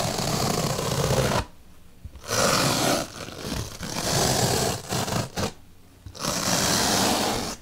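A bottle brush is poked into the surface of a large, solid white melamine foam magic eraser block. The result is bursts of dense, scratchy, rasping noise that spread from low to bright. Two clear quiet pauses separate them, and there are shorter dips between the bursts.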